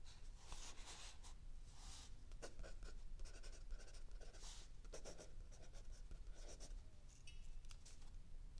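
A mechanical pencil writes continuously on a lined page of a spiral-bound notebook lying flat on a wooden table, while an open paperback book sits still under the other hand. Quiet, bright scratching strokes come in short bursts over a steady low hum.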